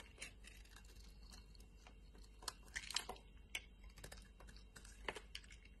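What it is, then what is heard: Bar of soap being scraped. A utility knife blade shaves and scrapes the corner of a solid lime-green embossed soap bar held in a hand with long multicolored nails. Quiet, crisp scratches and sharp bright ticks come in irregular bursts over a faint low hum, each dying away almost instantly.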